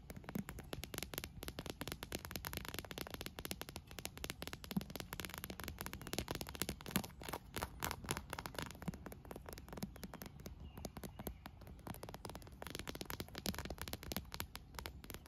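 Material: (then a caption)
Vinyl. Fingernails tap and scratch the surface of a green inflated PVC vinyl pool float lying on grass, close to its clear plastic handle. Dense, rapid crackling taps and scratchy rubs run continuously, with short dull knocks and occasional sharper clicks.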